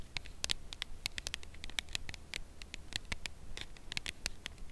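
A full red Lindor cardboard chocolate box, held in both hands, is tapped on its edge with long nails. The result is a steady, irregular patter of quick, light, bright clicks that die away almost instantly, over a faint low rumble.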